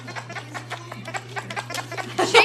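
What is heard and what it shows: A plush dog toy with a giggle stick noisemaker inside is shaken, producing a quick run of short, bright, chattering giggle-like bursts over a steady low hum. The bursts grow louder toward the end.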